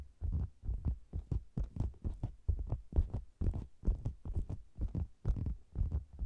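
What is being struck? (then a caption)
Faux leather cosmetics bag. Fingertips and long nails tap and scratch the sides of a round, hollow faux leather cosmetics bag with a microphone inside it. The result is a quick, uneven stream of deep, muffled thumps with almost nothing bright in the sound. Each thump dies away almost at once.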